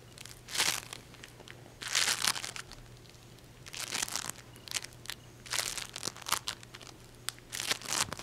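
A small solid ball of peach and green modeling foam made of tiny polystyrene beads is held in the hand and squeezed and scratched with long painted fingernails. Bright, dense crackly crinkling comes in bursts of varying length, separated by quiet gaps, over a faint steady low hum.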